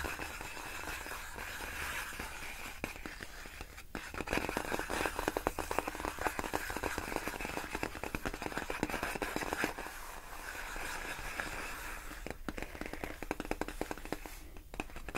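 Long nails tap rapidly on large, clear, inflated plastic air-column packaging made of hollow air-filled tubes. The result is a dense, crackly patter of short, dry clicks with little ring, growing louder from about 4 to 10 seconds. A few sharper bursts come near the end.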